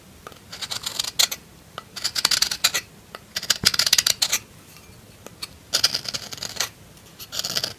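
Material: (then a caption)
Soap. A solid pink bar of soap is carved with the tip of a metal knife. Short bursts of dry, bright scraping come in clustered runs with quiet gaps between them, each cut crisp and quick with almost no ring.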